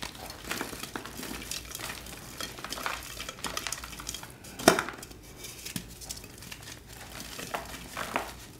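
Both hands, using fingertips and short nails, squeeze, crush and rub several solid, dry, pastel blue and pink glittered gym chalk blocks (magnesium carbonate) in a round tray, crumbling them into powder. Soft, dry crunches and crackly crumbling sounds continue throughout, with one sharper, louder crunch near the middle.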